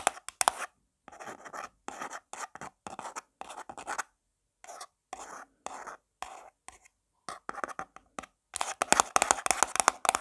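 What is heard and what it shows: Long black nails tap and scratch fast on the printed lid of a small round black plastic jar of got2b forming paste held in the palm. Dry, clicky plastic taps and scratchy rasps come in quick bursts with brief silent gaps, carrying no low end and no ring. The tapping grows denser and louder toward the end.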